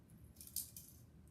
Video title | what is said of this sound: Softball Coaches: Checking Bats/Equipment | that's definitely a breakdown of what's going on inside